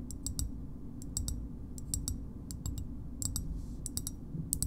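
Long nails tap on the concave side and edge of a small, hard green plastic shoehorn, making crisp, bright clicks in quick clusters. Each tap dies away almost instantly over a steady low hum.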